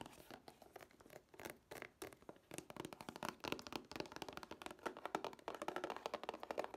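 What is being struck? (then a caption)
Plastic DVD case with cardboard sleeve. A plastic DVD case with a cardboard sleeve is turned in the hands while fingernails tap its flat face and edge. The result is a quiet, fast run of short, dry clicking taps, centred in the midrange with little low end, each one dying away almost at once.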